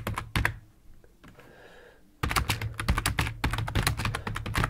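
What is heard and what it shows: Fingertips of both hands type on a full-size black plastic computer keyboard resting on a wooden desk. A few quick key presses open the clip, followed by a quiet pause of about two seconds, then a dense, uneven run of clattering keystrokes. Each press is a short, dull, low-heavy thunk with a brief clicky top.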